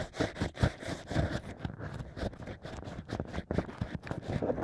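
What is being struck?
Natural cork wine corks with a bamboo pick.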